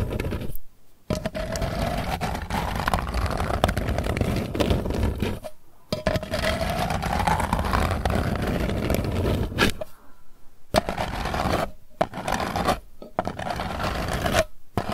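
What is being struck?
Closed round metal tin lid.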